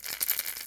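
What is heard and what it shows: A plastic crankbait fishing lure is shaken, and its internal rattles, a bunch in the head and little clankers in the back, give a quick run of bright, dry clicks. The sound is thin and high-pitched with almost no low end. The rattling is the lure's normal action.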